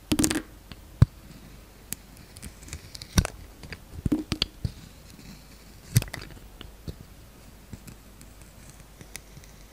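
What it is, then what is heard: Glitter-coated soap bar being shaved. A palm-sized solid green soap bar with a glitter and star-sequin coating is held in the hand and shaved with a utility knife blade. Short, crisp scraping and cutting crackles come in scattered bursts over a quiet background, some with a dull low thump and a bright edge. Each one stops almost at once.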